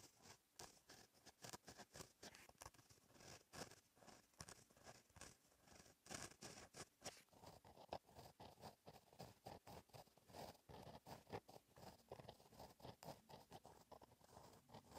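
A gel pen tip scratches across a flat black lined paper notebook page while writing in cursive. Quiet, dry, bright scratching comes in quick, uneven strokes with brief pauses between letters and words, each stroke ending with almost no ring.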